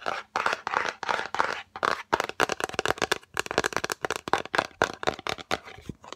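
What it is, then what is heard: Cardboard gift box tapped with nails. Long acrylic nails tap quickly on the lid and sides of a yellow Fendi cardboard gift box, which is rectangular and hollow. The result is a rapid run of short, dry, hollow clicks and taps with a papery crackle, bunched into quick bursts with brief gaps and almost no ring.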